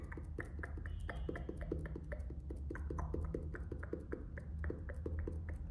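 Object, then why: Faux-leather hardcover notebook in plastic wrap. Fingertips tap and scratch the front cover of a closed orange faux-leather hardcover notebook, still in plastic shrink wrap with a paper band, while it is held up. Quick, light tapping clicks with brief bright edges sit over a steady low rumble at a quiet, even level.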